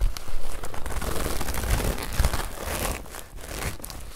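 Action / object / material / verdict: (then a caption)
scrape / woven straw hat brim / straw / none. The brim of a woven straw hat, held up, is squeezed, rubbed and scratched with fingers and nails. This makes a dense, continuous crinkling and crackling rustle with a soft low thump underneath. The sound swells and fades irregularly without clear separate hits.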